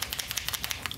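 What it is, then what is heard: Acrylic paint marker shaken. An Arrtx Simptap acrylic paint marker with a brush nib is shaken, giving a quick series of bright, clicking rattles as the mixing ball knocks inside the barrel. It makes the satisfying rattle expected from a good acrylic paint marker.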